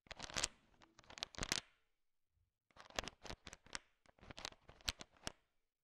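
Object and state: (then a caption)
Candy-coated chocolates. A thin wooden stick stirs a large pile of small, solid, sugar-shell-coated chocolate M&Ms, so the candies click and rattle against each other in bright, crisp bursts. There is a brief pause partway through, then the stirring resumes with more clusters of sharp clicking.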